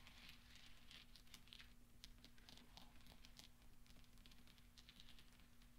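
Hands sweep and roll small solid steel pachinko balls together on velvet, producing a steady, quiet stream of soft, bright metallic clicks and ticks. A low, constant hum sits underneath the clicking throughout.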